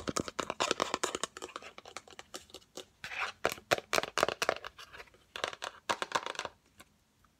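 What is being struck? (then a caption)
Cardboard box. Long acrylic nails tap quickly on the lid and sides of a yellow Fendi cardboard gift box, rectangular and hollow. The taps come in fast, uneven bursts of dry, papery clicks with a bright, scratchy edge and no ring, separated by brief pauses.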